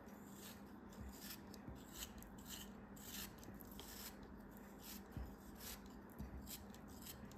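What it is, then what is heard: Kinetic sand block being cut and scraped. A solid beige kinetic sand block, held in the fingers, is cut and scraped with a craft knife blade. Soft, gritty rasping strokes come with short bright bursts of hiss over a steady low hum, and each stroke fades quickly.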